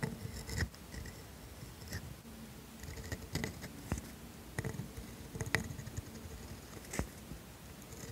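A pointed steel dip pen nib, held by a hand with painted nails, scratches strokes across a flat grid-ruled paper sheet while writing the word "same." The nib produces continuous, dry scratching with short, sharp ticks and a brief bright rasp as each stroke lands and lifts.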